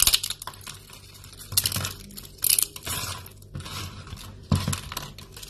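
Thin, brittle strips of dry yellow soap shavings are snapped and crumbled in both hands over a pile of flakes. Short bursts of crisp, bright crackling and crunching rise and fall, with quieter dry rustling between them.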